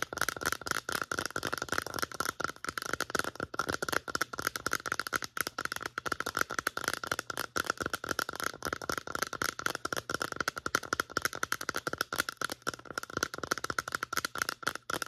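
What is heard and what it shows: Long nails tap rapidly and irregularly on the sides of a medium-size, hollow white plastic lotion bottle with a pump, contents not visible. The result is a steady stream of short, dry clicks with a hollow plastic tone around 1.4 kHz and almost no low end.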